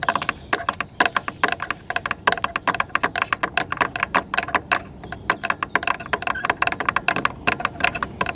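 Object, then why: Plastic car tail light lens. Very long red acrylic nails on both hands tap and scratch the red and clear plastic tail light lens of a silver car, a large, hollow, rigid housing. Rapid, dry plastic clicks with a hollow ring near 1 kHz and bright edges keep coming in quick irregular bursts. Soft scratching fills the short gaps between them.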